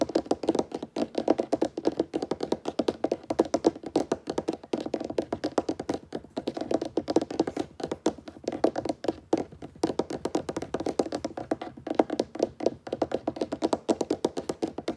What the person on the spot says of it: Todo este vídeo es de tapping sobre mesa de madera.